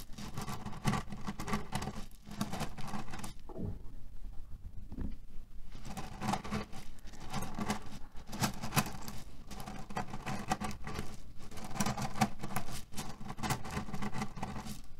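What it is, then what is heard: Cherry pit pillow. Fingertips scratch and press into a cotton-canvas pillow filled with cherry pits lying on a white table, shifting the pits inside. A dense, low-weighted rattling crunch of tumbling pits runs throughout, with a hum-like tone near 210 Hz, easing into a brief quieter lull around four to five seconds before the steady scratching and rustling resumes.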